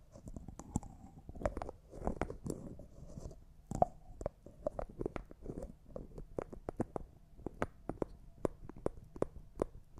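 Fingernails tap a small, empty, clear jar that looks like glass, along with its white plastic lid, and twist the lid. The result is a quick run of sharp, dry clicks carrying a faint ring near 700 Hz, with soft scraping grinds between them as the lid turns.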